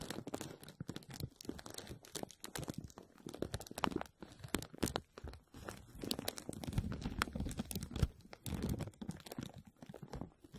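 A clear plastic bag is stretched over a hollow metal mesh strainer dome, and hands grasp and rub it while fingertips and nails scratch and crinkle the film. The result is dense, continuous crinkling and crunching with quick sharp crackles and a low, muffled body. The bursts are too close together to count.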